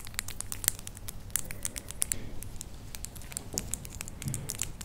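Long, pale acrylic false nails on both hands, small hard solid shells, tap and click against each other, nail on nail, with no other object involved. A quick, irregular run of sharp, dry, bright clicks sounds, each dying away instantly over a faint low background rumble.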